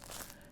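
A baked ciabatta loaf is pressed and squeezed, giving a short, dry crackling crunch from its crust with bright crinkly detail. The crust is crisp, a result of flicking water on top during baking.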